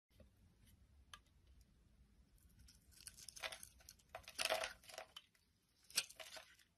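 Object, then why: Bar of soap. A utility knife blade shaves and scrapes a palm-sized solid purple bar of soap with embossed lettering held in the hand, flaking off curls of soap. Quiet, bright, dry scraping and crisp crinkly shaving strokes come in short bursts, growing louder toward the middle and end, with almost no low end.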